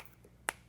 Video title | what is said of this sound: When to Replace Rubber? (Steele Rubber) | that don't sound right. it sounds like plastic. I mean, it's hard